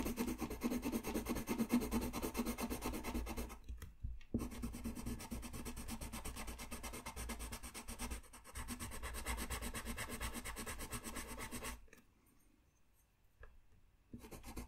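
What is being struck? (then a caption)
Colored pencil on a paper sheet. A colored pencil rubs and scratches across a thin white paper coloring sheet lying flat on a desk, making rapid, dense shading strokes with a dry, raspy texture. The scratching runs almost continuously, with brief pauses near 4 and 8 seconds and a longer near-silent gap from about 12 to 14 seconds before the strokes resume.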